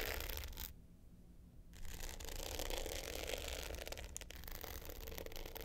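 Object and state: Glitter hard-case clutch being scratched.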